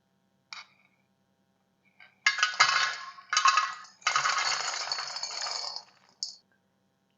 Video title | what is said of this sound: Dahi Boondi - Ghar par bilkul bazaar jaisi narm aur juicy Dahi Boondi banane ka mukammal tarika. HKK | Just listen to how crispy they are.